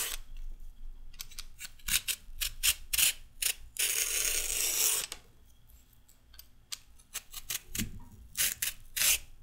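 A solid raw carrot is peeled with a red metal peeler in steady scraping strokes. The strokes make bright, crisp rasps, with a longer continuous scrape in the middle and quieter gaps in between.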